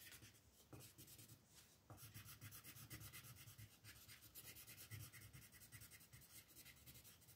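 A green wooden colored pencil is rubbed over a paper coloring book page on a table, filling in grass with fast back-and-forth strokes. A steady, bright, scratchy rasp pulses with each stroke over a soft low rumble, with slightly sharper scrapes near the start and midway through.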